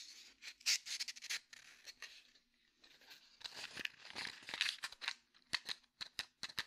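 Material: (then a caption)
Cardboard. A small red and white cardboard matchbox is held next to the mic and tapped and scratched with fingertips and nails. Quiet, bright, dry clicks and scratchy rustles come in irregular bursts with almost no low end, and each tap dies away almost at once. Toward the end the taps become sharper and more spaced out.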